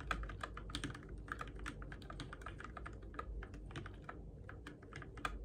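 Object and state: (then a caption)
Plastic mechanical keyboard being typed on. Fingertips type steadily on a Keychron K6 compact RGB-backlit mechanical keyboard with plastic keycaps on switches, in the dark. Quick, dry plastic clacks and taps follow one another in an uneven stream, each dying away almost at once. A soft low rumble sits underneath the whole time.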